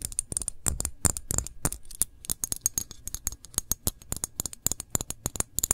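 Long nails tap and scratch on the bottom and sides of a full glass jam jar as it is turned in the hands. A fast, uneven run of several dozen sharp, bright clicks stops dead with no ring, each carrying a faint low knock, and soft scratching fills the gaps between them.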